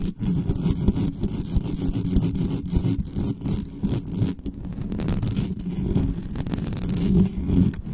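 Long nails scratch fast and hard across the bare mesh grille of a dark metal USB condenser desktop microphone, working from the sides and the top. The result is a dense, continuous scratching and rasping roar that sits mostly in the low range around 200 Hz, with short brushy bursts and very little high-end content.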